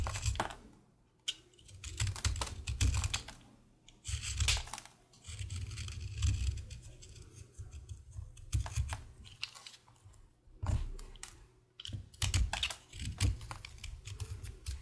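A solid pink, green and white flower-shaped bar of recycled soap is held in one hand while a green utility knife blade shaves and scrapes it, piling shavings onto a black surface. Dense, crisp scraping and crackling bursts come in waves with short pauses, over a low, muffled rumble.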